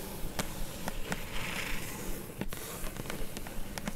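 Long glittery nails tap rapidly on the top of a flat, hollow, closed kraft-brown corrugated cardboard mailer box. The result is a quick, uneven run of dry, hollow clicks with a low thud beneath them and bright ticks over a steady crackly hiss.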